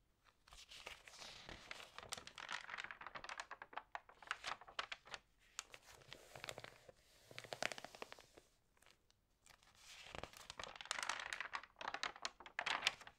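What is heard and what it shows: Flat hands rub the damp pages of an open glossy paper magazine lying flat on a table, and fingers turn the pages. Bursts of bright, crisp crinkling and rustling come with short sharp crackles and brief quiet gaps, with almost no low end.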